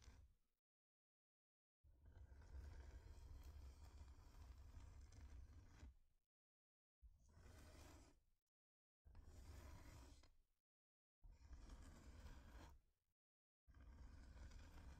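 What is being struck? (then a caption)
Thin flat wooden heart-shaped board. Long nails scratch and tap across a thin, flat, solid wooden heart-shaped plaque, producing dense, low, rumbling scratching in separate bursts of a few seconds each. Brief silences break up the bursts, with a softer fuzzy edge of texture above the rumble.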